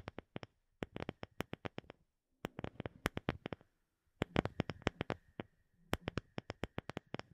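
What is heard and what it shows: Long fingernails tap a solid, palm-sized round wooden disc, light-colored with visible grain. Quick, dry, clicky taps come in four bursts separated by short pauses, about 40 in all, with no ring after each. A faint steady tone sits underneath.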